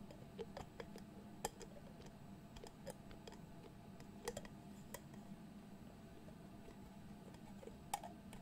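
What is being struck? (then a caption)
Glass jar with metal screw lid. Fingertips twist and tap the dark metal screw lid of a medium candle-style glass jar filled with pale wax-like contents. Quiet, sharp ticking clicks scatter irregularly across the clip, a few louder taps standing out with a brief bright ring near 800 Hz. A steady low hum sits underneath throughout.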